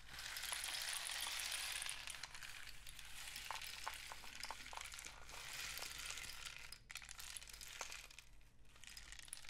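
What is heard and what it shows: A long, hollow, painted cardboard rain stick is held diagonally and tilted while fingertips tap and rub along its tube. A bright, steady rushing hiss like falling rain fills the clip, dotted with light, irregular taps and soft scratchy rubs, over a faint low hum. The hiss swells and eases slightly as the tube is tilted.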